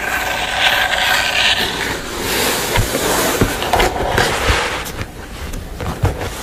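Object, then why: Painted canvas panel. Long nails tap and scratch across the painted front of a sugar-skull canvas. A steady, bright, crisp scratching texture fills the clip, with scattered sharp taps standing out over it.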